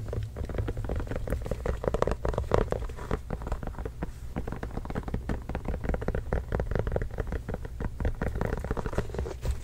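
A full-size orange signed Spalding leather or composite basketball, hollow and inflated, is tapped rapidly with the fingertips of both hands, then lifted and held up. The tapping is a dense, continuous patter of soft, dull, hollow thuds that die away almost instantly, over a steady low rumble.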